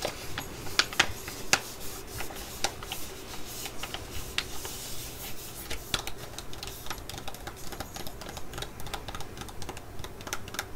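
A full, flat laminated foil sheet-mask sachet is held and crinkled while long nails tap on it. Soft, continuous crinkling is broken by sharp, dry clicks at an irregular pace, with a few louder taps near the start. Each tap dies away almost instantly.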